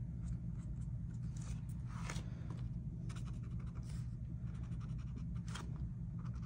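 A felt-tip marker rubs and scratches strokes across a flat paper coloring book page printed with a mandala, lying on a table while the other hand holds the page still. Soft, dry scratching strokes come in short bursts over a steady low hum that dominates the sound throughout.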